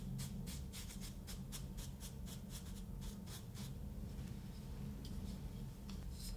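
A paintbrush is brushed over a solid, ridged kinetic sand block in a quick run of soft, bright, bristly swishes. The paintbrush is then lifted away, leaving mostly quiet with a few faint light touches near the end. A steady low hum sits beneath throughout.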